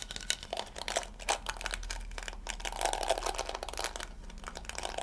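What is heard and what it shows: Fingertips and nails scratch and brush across the soft yellow plastic bristles of a round handheld scalp massager with a pink plastic body as it is turned in the hands. The result is a dense run of crinkly, crackling scratches and quick ticks, bright and airy, with a faint low steady hum underneath.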